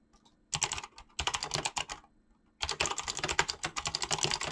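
Fast typing with fingertips on a full-size Razer BlackWidow mechanical keyboard with clicky green switches and pink-blue gradient PBT plastic keycaps, resting on a desk. Bursts of sharp, bright key clicks come in quick runs, separated by short pauses around one and two seconds in.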